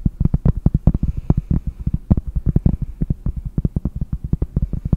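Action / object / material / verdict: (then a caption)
tap / cork board / cork / none. Fingernails tap quickly on the surface of a round, solid cork board held close to the microphone. About three dozen short, dull, deep thuds come in a rapid, uneven run, each dying away almost instantly. A faint low hum sits underneath.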